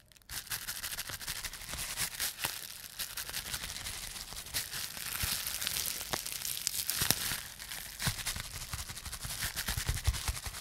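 A bunched sheet of clear plastic bubble wrap is crushed in the fist, popping many bubbles at once amid steady, bright crinkling. After a brief quiet start, the dense crackle runs continuously for about ten seconds, with sharper, louder pops standing out, most notably near 7 seconds.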